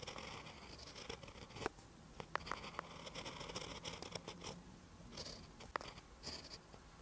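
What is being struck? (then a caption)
Lined paper page under a pen tip. A pen held by the fingertips writes Korean text in green ink on a lined paper notebook page. The tip scratches steadily along the paper in soft, bright strokes, broken by sharp little ticks and taps.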